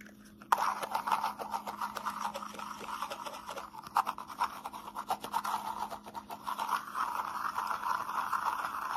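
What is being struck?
Small plastic cup.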